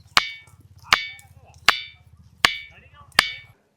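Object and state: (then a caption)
Ringing rock (bell-metal stone), metallic ring. A ringing rock known as a bell-metal stone (kanchu rayi), beside the path to caves, is struck five times at a steady pace. Each strike gives a sharp, bright metallic ring, like a steel glass being struck, which fades quickly. A low hum runs underneath.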